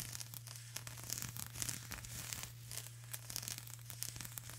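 Long grey-and-pink acrylic nails scratch and tap a flat sheet of plastic bubble wrap lying on a table. The result is a quiet, continuous bright crinkling and scratching with light, quick taps, over a steady low hum.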